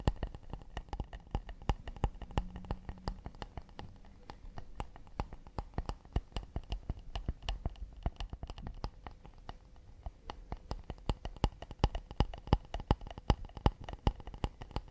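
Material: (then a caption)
Acacia wood. A round acacia wooden plate is held at the side while fingernails tap and scratch quickly on its curved underside. The result is a steady stream of fast, dry, quiet clicks with almost no ring, mixed with soft scratching.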